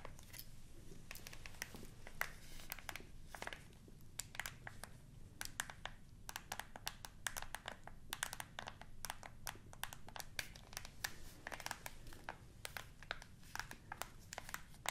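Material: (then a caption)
Plastic. Long nails click and tap the buttons of a hollow black plastic TV remote control, making a dense run of sharp, bright plastic clicks centered around 2.1 kHz. Each click dies away almost instantly, over a quiet, steady low rumble.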